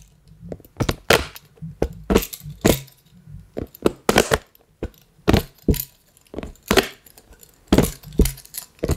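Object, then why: Collapsible silicone water bottle tapped with small plastic hands. Plastic toy puppet hands tap and scratch the ribbed rings of a hollow, pastel collapsible silicone water bottle held close. Around twenty short, dry taps and crackly scratches come in quick bursts, each with a soft low thump and a bright rasp that dies away almost at once.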